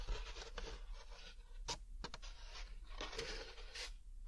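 A large, thin, hollow molded paper pulp packaging tray is held up in one hand while the fingers and nails of the other hand rub and scratch its textured pulp surface. Dry, bright, papery scraping comes in bursts, with a few sharper, brief scratches over a steady low hum. It sounds like close, quiet, continuous rough scratching.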